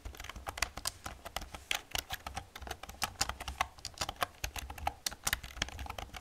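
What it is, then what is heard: Plastic computer keyboard being typed on. Long nails and fingertips type and tap on the keys of an old, hollow black plastic computer keyboard. A steady, uneven run of dozens of short, bright clicks and clacks fills the clip, each dying out almost instantly over a faint low, hollow thump.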